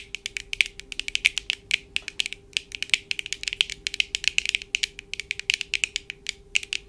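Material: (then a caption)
Plastic. Long acrylic nails of both hands tap fast on the lenses of black plastic-framed eyeglasses worn on the face. Dense, rapid clicks, bright and sharp with almost no ring, run steadily through the clip, with a faint constant hum underneath.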